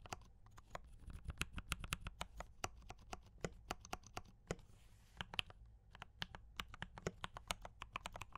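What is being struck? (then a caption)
Mechanical keyboard with plastic keycaps. Both hands type continuously with fingertip taps on a compact D84 mechanical keyboard with brown switches and cream and red plastic keycaps. About forty quick, sharp clicks with bright, dry attacks sound over a faint low hum, with a brief hiss near the middle.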